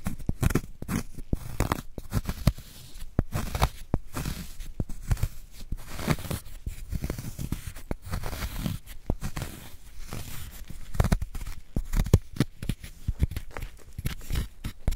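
A wooden spoon scrapes inside the carved hollow of a solid gym chalk block held in a gloved hand. Dense, crunching scrapes and gritty crumbles come in rapid, uneven bursts, heavy in the low end and short with almost no ring.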